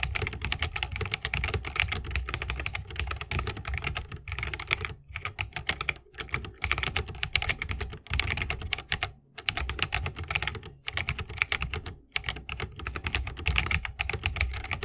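A 60% mechanical keyboard with a bamboo case, plastic keycaps and Holy Panda switches is typed on continuously with the fingertips of both hands. Dense, rapid, bright clacks run over a soft low thump, broken by a few brief pauses. Each keystroke is short and dry with almost no ring.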